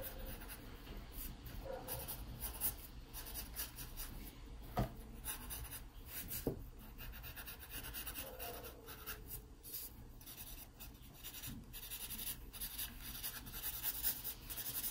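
A sharpened wooden graphite pencil draws fine lines of a pear on an open paper sketchbook page, giving a steady, dry scratching and rubbing of the lead across the paper. The strokes sit over a low, constant hum, with a few brief, sharper taps standing out along the way.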